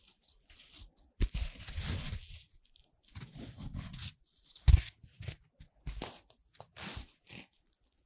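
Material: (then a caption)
Corn-starch foam. A flower sculpture built from puffed corn-starch foam playcorn pieces, with white petals, a yellow centre and a green stem of joined segments, is held in both hands. Fingers with long red nails bend and squeeze the stem. The result is a run of dry rustling, crunching and tearing bursts with breaks between them.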